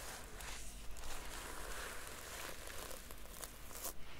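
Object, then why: Notebook with a sequin cover. Long dark-painted nails brush and scratch across the red and silver reversible sequin cover of a hand-sized notebook held up in the hand, flipping the sequins. Soft, continuous rustling and scratching carries bright crackling flicks, with a low steady hum underneath and two sharper scrapes standing out.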